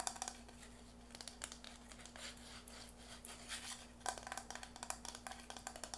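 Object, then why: Hollow plastic ring-shaped container. Fingertips and nails tap and scratch around the outer wall and rim of a hand-sized, blue, hollow plastic ring-shaped container as it is turned on a wooden table. The result is a quiet, rapid series of short, bright clicks mixed with scratchy rustling, over a steady low hum.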